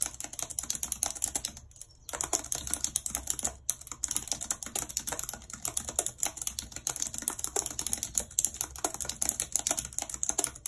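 Long red nails type quickly on the plastic keys of a white plastic computer keyboard, making a dense, bright stream of sharp clicks and tapping. The clicks are short, crisp and high-pitched, with a brief pause just before the 2-second mark and another near 3.6 seconds.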